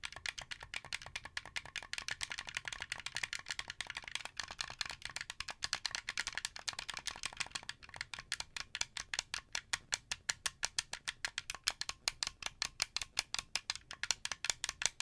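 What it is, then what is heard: Plastic game controller, button clicks. A handheld wired Xbox 360 style controller with a hollow translucent blue plastic shell and white buttons is held in one hand while fingertips and nails tap and press its face buttons. The result is a rapid, dense stream of bright, dry plastic clicks that spaces out into more distinct taps in the second half.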